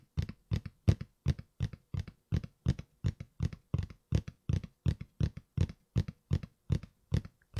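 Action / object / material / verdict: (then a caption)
tap / cardboard shoe box lid / cardboard / none. Fingertips and nails tap and scratch the flat lid of a closed red and white Nike cardboard shoe box held up in front of the face with both hands. A steady run of short, dull paired taps with a low hollow thud and almost no ring continues throughout, with soft scratchy texture between them.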